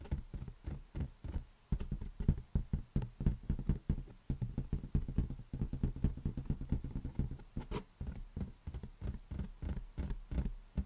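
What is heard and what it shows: A large, hollow, inflated green latex balloon is held on one palm and tapped rapidly with the fingers of the other hand. The taps are soft, low, hollow thumps around 140 Hz that die out almost at once, in an uneven, drumming rhythm that runs with only brief pauses throughout.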